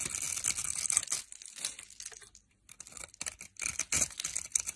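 A metal knife blade cuts into the grid-scored edge of a solid orange soap bar held in the fingers, crumbling it into small cubes. Dense, bright, crisp scraping and crumbling crackles fill the clip, pause briefly near the middle, then pick up again with little low-end weight.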